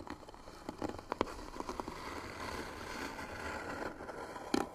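Short natural fingernails of both hands scratch slowly and hard across a small hollow white-painted wooden box with pearl-bead trim and brass hinges, its lid closed. A soft, steady scraping hiss runs throughout, broken by sharper dry scratches and clicks that stop instantly with no ring. A louder scratch lands near the end.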